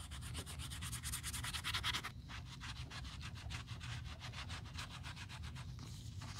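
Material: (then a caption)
Leather. A cotton pad held in metal tweezers is rubbed rapidly back and forth across the quilted panels of a black quilted leather Chanel 2.55 Reissue flap bag lying flat, while a gloved hand steadies the bag during restoration. It produces a steady, rhythmic run of bright, scratchy swishes over a low rumble, slightly louder in the first two seconds before settling into even strokes.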